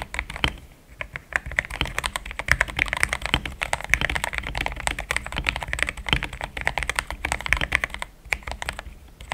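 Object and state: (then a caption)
Plastic mechanical keyboard. Fingertips of both hands type steadily on a compact pink-and-cream plastic mechanical keyboard with thick XDA-profile keycaps, Gateron Yellow switches and a polycarbonate plate, sitting on a desk mat. A dense, even stream of short, bright clacks with a soft low thump underneath fills the clip, each keystroke dying away almost instantly. The typing dips briefly near the start and again toward the end.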